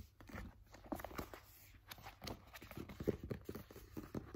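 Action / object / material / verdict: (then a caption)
scrape / paperback book paper pages / paper / none. Fingers flip and rub the paper pages of an open paperback book. Quiet, dry papery rustles and soft scratchy brushes come in quick, uneven bursts with a low, muffled body. Each sound stops at once without ringing.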